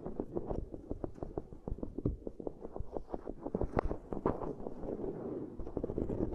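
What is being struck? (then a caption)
Ridged silicone pad. Long grey nails tap and scratch rapidly with both hands over the concentric ridges of a black silicone pad. The result is a fast, steady stream of short, dry, muffled taps mixed with soft scratching, with weight in the low and middle range and almost no bright top end.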